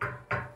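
Two knocks on a thick, solid steel tube bed frame give a solid, full tone with a low pitch near 125 Hz and strong midrange. Each knock rings briefly before fading, unlike the tinny, can-like sound of a thin frame.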